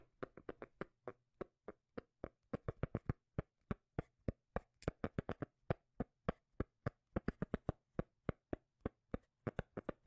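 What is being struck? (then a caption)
Cork lid. A cork lid is tapped in a quick, uneven run of short, dry knocks with a low, bassy thump and almost no ring. A faint steady low hum sits underneath the taps.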